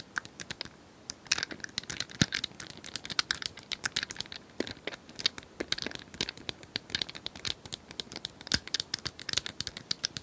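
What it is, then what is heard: Plastic puzzle cylinder toy. Long nails tap and scratch rapidly across the colored square tiles of a hand-sized plastic cylinder puzzle toy held in both hands. The result is a dense stream of dry, bright clicks with brief scratchy rustles between them. Each click stops almost instantly, and there is very little low end.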